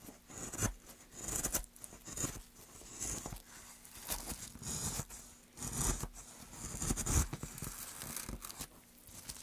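A small gouge carves a hollow near the end of a solid, light pine softwood plank held in gloved hands. It makes repeated rough, tearing scrapes that swell and fade with each stroke, with bright, hissy shaving noise. A faint steady low hum sits underneath.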